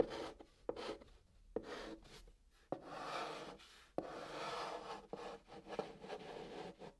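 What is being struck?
Chalk drawn on a cardboard box surface.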